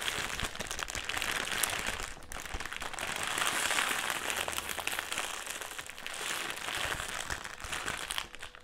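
A black, foil-lined metallised plastic crisp packet is held in the hands, crumpled and twisted. It gives a dense, continuous bright crinkling full of sharp crackles. The sound swells and eases in waves, with brief softer dips between the rustles.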